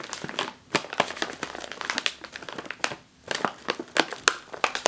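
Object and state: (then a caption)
Plastic chip bag. A full, sealed, foil-lined plastic chip bag is pressed on top with one palm and scratched with long nails, giving bright, dry crinkling and crackling. Rapid sharp bursts pause briefly near 0.6 s and 3.1 s.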